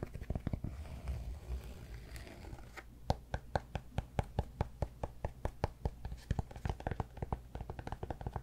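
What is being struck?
Cork yoga block.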